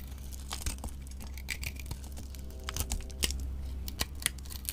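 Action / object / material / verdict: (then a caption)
scrape / bar soap carved with a knife blade / soap / none. A solid white bar of soap with a gold-coated side is held in a hand with long nails and carved with a utility knife blade. Short, crisp scraping and shaving sounds, bright and dry with almost no ring, come in irregular bursts over a steady low hum.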